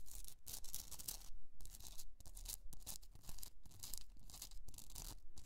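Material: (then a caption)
Rock salt. Long nails scratch across the top of a rough pink Himalayan rock salt candle holder, a solid piece with a hollow in it. The result is a quiet, gritty, bright rasping that comes in uneven repeated strokes with short pauses between them.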